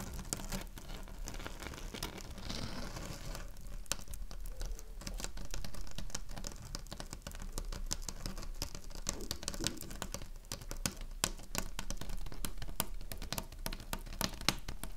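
Long acrylic nails tap and scratch across a flat black-and-white woven plastic placemat, with a soap box sitting untouched nearby. Quick, irregular, sharp clicks pepper a steady scratchy crinkle over a low background hum.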